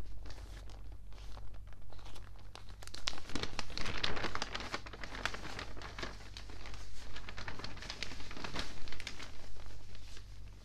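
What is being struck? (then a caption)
Newspaper pages. Fingertips rub the pages of an open, water-damaged newspaper of thin paper, then lift and turn them, giving soft, continuous crinkling and rustling. The crinkling swells into louder, brighter bursts around the page turns, over a steady low hum.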